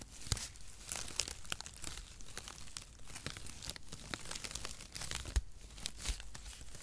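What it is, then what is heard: Cardboard packaging shreds being crumpled. A light, airy bundle of cut, mesh-like brown cardboard packaging shreds, held in both hands beside the microphone, is squeezed, crumpled and rubbed with the fingertips. This produces a steady run of crunchy, crinkling, tearing-like crackles with sharp, bright snaps throughout.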